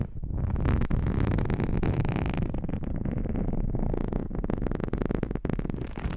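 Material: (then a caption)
Plastic. A transparent, thin, hollow hard plastic iPhone case, held empty over a stereo microphone, is scratched and tapped with long natural-colored fingernails. The result is a dense, continuous scratchy rustle heavy in low rumble, dotted with quick clicks and taps that flicker throughout.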